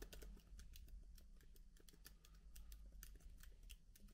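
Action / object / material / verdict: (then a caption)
tap / plastic laptop keycaps / plastic / none. Fingertips of both hands type softly on a MacBook keyboard with plastic keycaps. A rapid, continuous patter of light, bright key clicks plays over a steady low hum. The overall level stays quiet.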